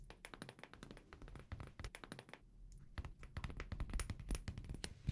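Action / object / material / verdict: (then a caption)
tap / small glass perfume bottle / glass / none. A small amber glass perfume bottle with a paper label and black cap is held sideways in both hands and tapped with fingertips and nails. Quick, irregular taps give short, dry clicks over a soft low thump, with a faint steady high tone underneath. The tapping briefly thins out and then grows louder and denser toward the end.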